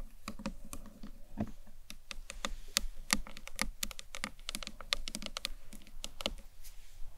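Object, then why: Acrylic box clutch. Long nails tap quickly and irregularly along the top edge of a hollow green marbled acrylic box clutch. Each tap gives a sharp, bright click over a short, low, hollow knock, and the sound dies away almost at once.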